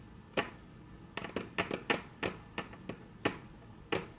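Very long natural nails tap on a flat, solid, dark brown wood-grain tabletop, making eleven short, sharp clicks with a bright edge and almost no ring. The taps come at an uneven pace, some isolated and some in quick clusters, over a quiet background.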